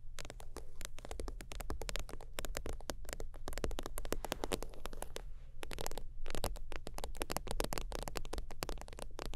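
Long teal nails tap and scratch rapidly across the top of a closed holographic faux-leather zip wallet lying flat. The result is a dense, steady stream of short, dry clicks and soft thuds over a low, muffled body, with brief scratchy brushing between taps and almost no ring after each hit.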